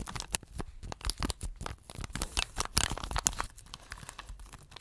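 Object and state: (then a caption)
Plastic picture tray. Fingertips and nails scratch across the surface and edge of an empty round blue plastic tray with a printed photo under a clear plastic cover. The result is a dense run of short, dry, crinkly scrapes and bright clicks with a low thumping undertone, each stroke ending almost instantly.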